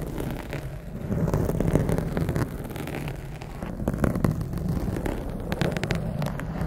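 Long acrylic nails scratch and fingertips rub a blue foam windscreen on a condenser microphone, close to the capsule. The result is a dense, low, muffled rustling and scraping, with quick crackly bursts that swell and fade throughout.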